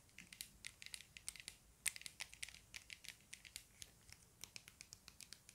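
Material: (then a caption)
Plastic. Fingertips and nails tap and scratch a small hollow plastic stickerless speed cube with blue textured faces, held in both hands. The result is a quiet, fast run of dry, bright clicks and scratchy ticks with no ring and almost no low end.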